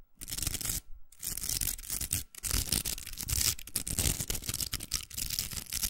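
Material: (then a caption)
Plastic. Long nails scratch the hooks of a large, hollow, pink plastic velcro hair roller. The result is a dense, bright, raspy scratching with a low rumble underneath, broken by short pauses near the one- and two-second marks.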